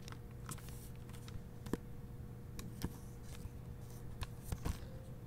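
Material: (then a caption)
Plastic. Fingertips and nails rub and crinkle the clear plastic library dust jacket over the red cover of a hardcover book held open with its paper pages. Short, sharp crackles and ticks come in scattered bursts over a low, steady rumble and a faint constant tone, with the loudest snaps near the middle and end.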